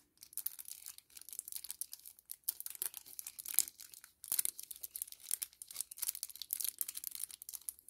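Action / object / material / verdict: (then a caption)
scrape / kraft paper-plastic laminate sachet / paper-plastic laminate / none. A small, flat 10 ml kraft paper-plastic laminate sachet is held in both hands and crinkled and rubbed with the fingertips. It makes quiet, bright, crackly crinkling in dense bursts, with brief pauses around 1 and 4 seconds. There is almost no low end and no ring after each crackle.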